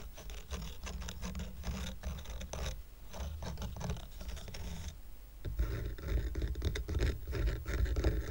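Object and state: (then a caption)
Painted wooden coaster stack. Fingernails scratch and rub the textured top surface and edges of a small square stack of solid painted wooden coasters decorated with a red heart. The result is a steady, dense, dry scratching with a low, muffled body. After a brief softer dip near the middle, the scratching grows louder and rougher toward the end.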